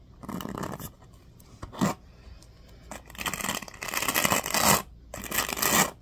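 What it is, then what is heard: Plastic paddle hairbrush bristles scratched. Fingertips rub and scratch the teal-tipped bristles of a black plastic oval paddle hairbrush held up close. Dry, bright, bristly scratching comes in uneven bursts, with a brief sharp flick between longer rasping passages and near-silent pauses.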